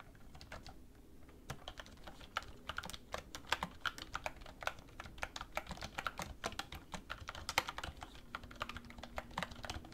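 Fingertips with long red nails type continuously on a black plastic computer keyboard resting on a wooden desk. Quick, short, clicky key taps come in an irregular stream over a faint low background rumble.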